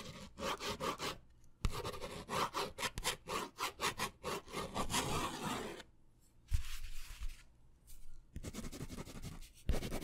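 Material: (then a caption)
Paper. A blue ballpoint pen tip is scratched and drawn across a small, thin white paper pad or card held in one hand. Quick, dry scratching strokes come in bursts separated by short pauses, with a few soft, low thumps. The strokes are bright and raspy against a quiet background.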